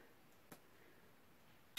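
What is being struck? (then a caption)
Small plastic paint bottle with a mixing ball. A small container of copper shimmer paint is shaken before use so the mixing ball inside can mix the paint. Two short, bright clicks of the ball knocking inside the container stand out against quiet background hiss.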